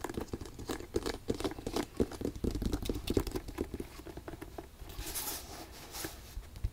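A single black leather ankle boot with a side zipper and thick rubber sole, held in the hand, is tapped and scratched on its leather upper by long pink nails. Quick, soft, dull taps patter close together, mixed with scratchy brushing. The last couple of seconds turn to a brighter, hissy scratching.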